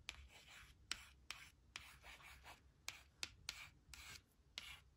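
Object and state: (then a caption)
Laminated card strip being scratched. Long nails and then a white plastic stylus trace the letters of "they will / they'll" on a thin, flat laminated card strip resting on a woven blanket, scratching the card surface. Quiet, bright, scratchy rubbing strokes come in short bursts. About ten sharp, crisp ticks punctuate them.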